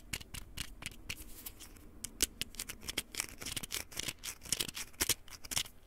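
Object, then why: Small plastic pill bottle. Fingertips and nails tap and scratch the cap and body of a small white plastic pill bottle with a red label, held in one hand. Quick, irregular clicks and dry scratches come in a steady stream, each one bright and sharp with almost no ring. Soft rustling fills the gaps between them.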